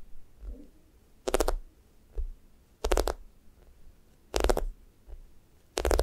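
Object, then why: Foam squishy toast toy. Fingernails poke dents into a thick, solid, sticky foam squishy toast while fingers press and squeeze its top. Four loud, bright sticky crackles, like peeling tape, come at a steady, unhurried pace. Soft, dull taps and squishes sound in the quiet gaps between them.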